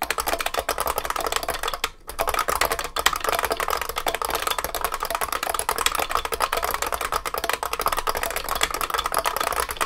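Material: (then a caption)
Plastic, metal. Continuous fast typing on a large vintage beige IBM 3278 beam spring keyboard with plastic keycaps and a metal case, both hands striking keys with the fingertips. Dense, sharp, clacky keystrokes with bright, short ringing tones run steadily throughout, broken only by a brief pause near two seconds.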